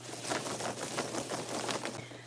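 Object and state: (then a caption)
Fabric-paint-coated foam dreads, loud rattle when shaken. Foam cosplay dreads for a Predator mask, painted with flexible fabric paint, are shaken, producing a continuous dry, rustling clatter with bright, airy bursts over a steady low hum. They sound noticeably louder than dreads coated in liquid rubber, but are lighter, making for a lighter mask.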